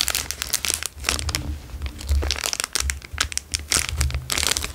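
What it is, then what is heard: Plastic chocolate bar wrapper. A plastic Dairy Milk chocolate bar wrapper is folded, pressed and crinkled with fingers. Dense bursts of bright, crisp crackling rise and fall over a low rumble, with no single hits standing clearly apart.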